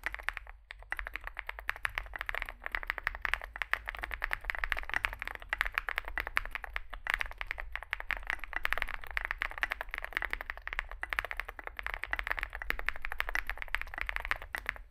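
Fingertips type continuously on a small 65% mechanical keyboard with a dark case and white and grey plastic keycaps. Rapid, dense clacks and taps carry a bright mid-high click, with short pauses between bursts and a low steady hum underneath.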